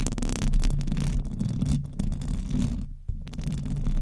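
Fast scratching with long nails from both hands on the hollow metal mesh grille of a silver condenser microphone. The result is a dense, continuous low rumbling texture with faint bright scratchy edges, briefly dipping quieter near the end before resuming.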